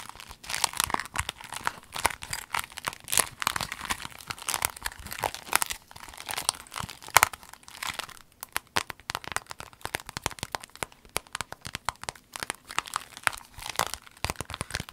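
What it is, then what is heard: Clear vinyl pencil case. A rainbow clear vinyl pencil case, rolled into a tube, is squeezed and crinkled by hand. It makes a dense, continuous run of bright, sharp crinkles and crackles with little low end. The sound comes in uneven bursts of varying loudness.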